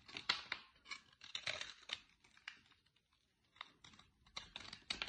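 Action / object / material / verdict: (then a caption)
scrape / soap bar cut with a knife blade / soap / none. A utility-knife blade digs into a solid light green bar of soap, cutting and shaving pieces out of it. Short, dry, bright scraping and crisp crumbly bursts come one after another, with a brief quiet gap partway through. The sound is quiet with almost no low end.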